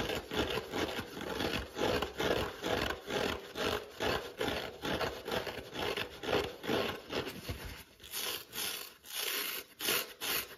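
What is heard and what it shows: Fingertips scratch a dry yellow foam kitchen sponge held in the hand, tearing off small crumbs, then scratch its green scouring pad side. Quick, uneven rasping strokes repeat at roughly two per second, dull and crumbly at first, then turning sharper and brighter with airy hiss near the end.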